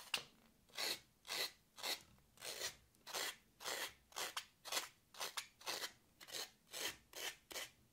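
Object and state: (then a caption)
Floral foam block scratched with a fingernail. A long, pointed fingernail scratches deep grooves into a solid, porous green floral foam block held in the hand, making crumbs fall off. It produces a steady series of dry, bright, raspy scraping strokes, roughly two per second at an uneven pace, each rising and fading quickly with no low rumble.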